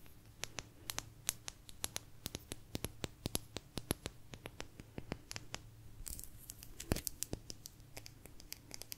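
A small, thin, solid blue agate slice is held in both hands and scratched and tapped with long nails. Quick, dry, bright clicks and scratches come in a dense, uneven stream, with a faint low hum beneath and a brief rougher burst near the six-second mark.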